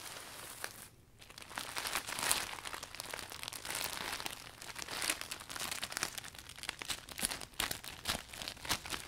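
Hands wrap around and squeeze the furled canopy of a new, closed, clear polka-dot vinyl umbrella as it is wiped down, crinkling the heavy plastic. A steady stream of bright, crackly crinkles and rustles is heard, with a brief lull near the start before the handling picks up again.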